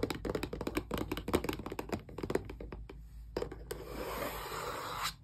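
Long press-on nails tap rapidly along the edges of a small, closed, hollow cardboard Xbox controller box turned on its side, making quick, dry, hollow clicks over a faint steady low hum. After about three seconds the tapping thins to a few scattered clicks, then gives way to a soft, bright, rustling scratch across the cardboard that stops abruptly near the end.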